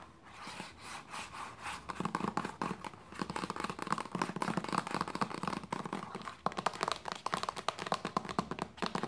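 A hollow white plastic lotion bottle with a red cap is tapped along its body with long nails and fingertips. It makes rapid, dry clicks and taps that start softly and grow into quick, dense flurries with a hollow, mid-pitched tone around 1.2 kHz. Each tap dies away almost instantly.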